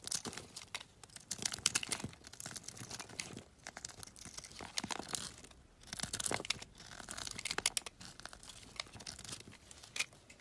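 A palm-sized, solid olive-green olive oil bar soap held in the hand is carved with a metal utility knife blade, which shaves long slivers off it. The clip is full of dense, bright, crisp scraping and crackling, with a brief dry tearing quality as each sliver peels away. The strokes come in bursts separated by short pauses, and they die away almost instantly.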